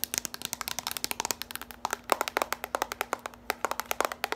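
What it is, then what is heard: Plastic bowl. A small, empty, orange hollow plastic bowl with ridged sides is held and tilted while long pointed nails tap and scratch its outside and rim. About 35 fast, sharp, dry clicks come in an uneven rapid stream with no ring, and faint scratchy rasps fill the gaps.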